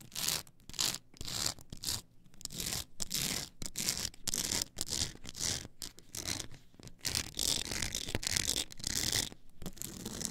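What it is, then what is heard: Stack of plastic CD discs scratched along the edges. Long acrylic nails scratch along the ridged edges of a tall, solid stack of blank polycarbonate CD-R discs on a plastic spindle base. Short, raspy scratching strokes with a bright, high-heavy hiss repeat in quick bursts with brief silent gaps between them, and each stroke stops dead with no ring.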